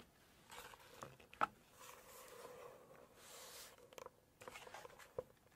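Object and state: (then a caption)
Glossy cookbook page being scratched. Long nails scratch across the glossy paper pages of a large hardcover cookbook, turn a page, and scratch again. Soft, papery scraping swells come and go, broken by a few sharp ticks and one brief crisp snap near the middle. The sound is quiet and close, with little low end.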